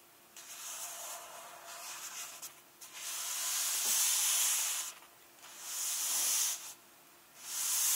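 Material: Glossy paper.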